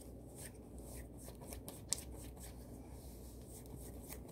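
Long manicured nails and fingertips scratch, rub and scrunch the smooth fabric of a blue floral satin kimono robe worn on the body. The result is a quiet, steady bright rustling and scratching hiss, broken by short crisp swishes and one sharp tick near the middle.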